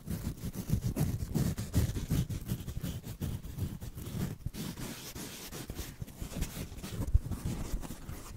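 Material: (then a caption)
Foam. A small black foam block is held in one hand and slowly scratched with the fingernails of the other. The result is a steady run of soft, dull, irregular scratching strokes, heavy in low rumble with only a faint bright hiss on top.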